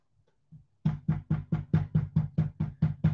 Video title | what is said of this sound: HOW TO MAKE CIABATTA BREAD -WHOLEMEAL CIABATTA - NO KNEAD BREAD -LIVESTREAM COOKING -FOOD VLOG | it sounds so low